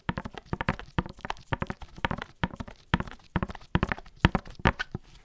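A tall, hollow black-and-white printed "Barber Jack" cardboard gift box, held upright near the microphone, is tapped with latex-gloved fingertips. The result is a rapid, uneven run of short, dull, hollow knocks with a low body and very little ring, close together in quick bursts like galloping clip-clops.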